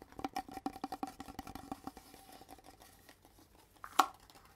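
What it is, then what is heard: Cardboard poster tube. Fingertips and nails tap and scratch along a long, hollow red cardboard mailing tube with thin gold bands. A quick run of soft, hollow taps rings with a low, tube-like resonance, then fades into quieter scratching, before one sharper, louder tap near the end.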